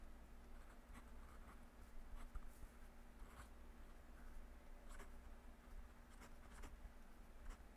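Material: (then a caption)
Paper. A metal fountain pen nib scratches across a yellow lined paper legal pad lying on a desk as a hand writes, with a clip-on microphone lying on the page. Soft, papery scratching strokes come in irregular bursts with bright, crisp edges over a steady low hum.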